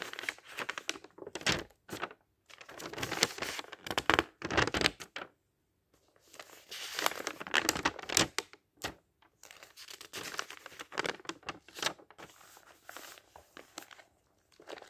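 Fingertips lift, flip and rub the thin printed paper pages of a thick open dictionary one after another. Crisp, bright rustling and crinkling come in bursts of page turns, with brief quiet gaps between them and almost no low end.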